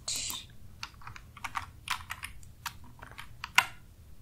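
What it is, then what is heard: Plastic computer keyboard. Fingertips of both hands type continuously on a black full-size plastic computer keyboard with a hollow housing and plastic keys, resting on a desk. Twelve separate, bright, clicky key taps stand out over a low background hum, each dying away almost at once. The clip opens with a longer bright rustling burst, and the loudest, sharpest tap lands near the end.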